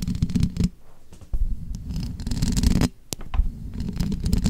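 Long manicured nails and fingertips tap and scratch the rounded, perforated metal mesh grille of a bare, hollow black condenser microphone. The sound is a close, deep, muffled rumbling and scraping in uneven bursts, with quieter pauses between them and a few sharp, brief taps.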